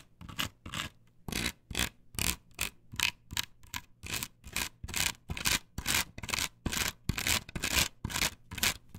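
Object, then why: Perforated plastic stencil on wooden board. Long nails rub and scratch across a flat, perforated plastic stencil template glued to a wooden board. About twenty quick, bright, raspy strokes follow one another in a steady back-and-forth rhythm, each stopping dead with no ring.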